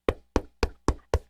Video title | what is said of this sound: The BBQ Central Show - LIVE | that's Me Knocking on your book it's a real book cover